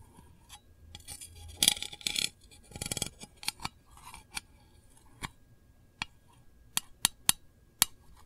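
A long nail taps and scratches the lid of a small, round, printed metal candle tin that is hollow. Bright, scratchy rubbing bursts come first, then a series of sharp, high, tinny clicks that stop almost instantly.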